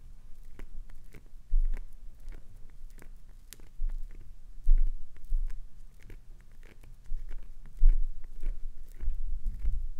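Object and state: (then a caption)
Glycerin soap bar scraped. Long acrylic nails scratch and scrape the surface of a clear green solid glycerin soap bar, building up shavings. Soft, dull, low-pitched scraping continues throughout, with faint crisp ticks and a few louder scuffs near 1.6, 4.7 and 7.8 seconds.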